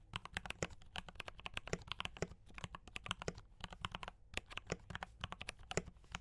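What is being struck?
Mechanical keyboard with plastic keycaps.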